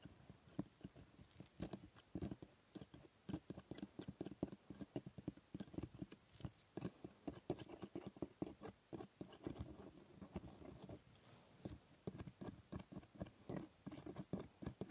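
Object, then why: Plastic model teeth scraped with a steel scaler. A gloved hand scrapes and picks along the white hard plastic teeth of a plastic typodont jaw model, set in orange gum, with a thin steel dental scaler. Quiet, dry ticks and short scrapes come in a quick, uneven run of dozens, with a dull low-mid body and almost no bright ring.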